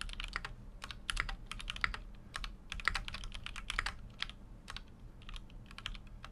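A full-size Keychron Q6 mechanical keyboard with an aluminum case and plastic keycaps is typed on continuously with fingertips. The result is a steady stream of short, sharp clicks and clacks with bright, high tones over a faint low hum.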